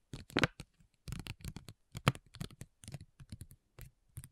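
Long nails tap and lightly scratch on a flat, printed plastic foil sheet mask pouch, making quick, crinkly ticks in uneven clusters. The short, dry taps have a low thump underneath and a bright crackle on top, with brief silences between bursts.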